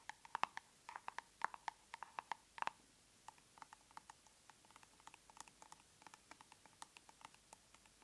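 Long nails tap on the lid and side of a large round plastic tub of aloe soothing gel, making dozens of quick, dry clicks. The first few seconds bring louder taps with a short hollow ring around 1 kHz, followed by a steady run of lighter, brighter ticks that stop almost instantly.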